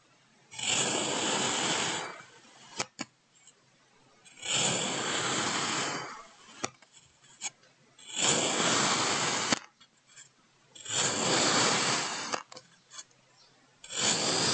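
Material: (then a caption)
Kinetic sand. A white ceramic knife blade slices repeatedly through a solid molded block of pink and green striped kinetic sand on a wooden table. Each cut is a long, bright, gritty scraping hiss lasting about one and a half seconds, with soft clicks and taps in the quiet gaps between. Five cuts are heard, the last one cut off at the end.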